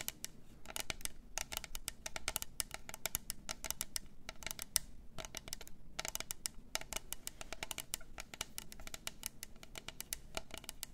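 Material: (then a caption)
Plastic. A hollow, double-walled clear plastic tumbler with pink glitter, a lid and a straw is held in both hands and tapped and scratched with long acrylic nails. Rapid, dry, bright clicks and scrapes follow one another with almost no ring, over a quiet low background, and pause briefly now and then.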